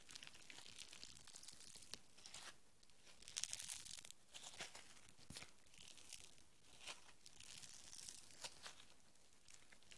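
A handful of soft green foam bead clay is pulled into an arc and stretched by fingertips with long nails. It gives quiet, dense, bright crackly tearing sounds in a steady stream of small bursts, with a few louder crunchy swells.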